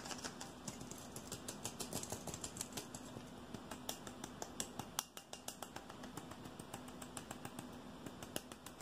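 A hand-sized, hollow red aluminium aerosol deodorant can is tapped quickly with fingertips and nails on its body and silver base. Dozens of rapid, light, bright clicks and taps come in an uneven stream, each dying away almost instantly, with a brief quieter moment about halfway through.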